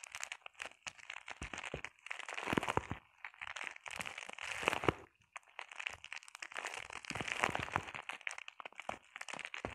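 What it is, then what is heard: Plastic bubble wrap. Long painted nails scratch and tap across a flat sheet of clear plastic bubble wrap. The result is a quiet, bright crinkling and crackling made of rapid tiny clicks and dry scratchy bursts. It comes in clusters that swell and fade, with a brief silent gap midway.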